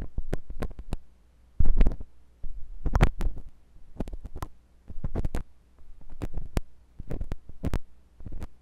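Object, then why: Silicone microphone ear scraped with a metal tool. A metal drill-bit tool with a wooden handle rubs and scratches inside the ear canal of a white silicone binaural microphone ear. The result is a string of deep, muffled rumbling scrapes broken by sharp, brief clicks, with pressure-like low thumps in close, dry bursts.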